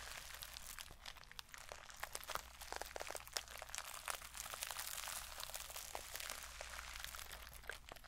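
Long fingernails scratch and rub the plastic sequin surface of a small sequin-covered mermaid bag held close to the microphone. The result is a dense, bright, crinkly scratching texture, peppered with sharp little clicks and crackles over a faint low hum.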